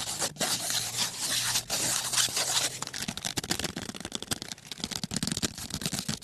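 Fingertips and nails scratch and scrape the surface of a small, closed kraft cardboard box of colored pencils, probably full, held in one hand up close. A steady, bright, hissing scrape runs for the first few seconds, then breaks into a quick series of short, crisp scratches and taps. The sound is high and dry with almost no low end and no ring after each stroke.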